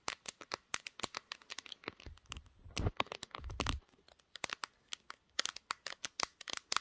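Long green nails tap rapidly on the glass back and camera bump of a pink, glass-backed smartphone held in both hands while it records. The result is a fast run of sharp, bright clicks with almost no ring, broken in the middle by a stretch of low, rumbling handling and rubbing noise.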